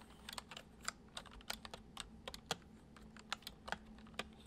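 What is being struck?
Plastic computer keyboard.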